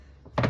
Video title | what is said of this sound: CREAMY HORSERADISH FRENCH DIP CALZONE | if you tap it it sounds Hollow that means it's done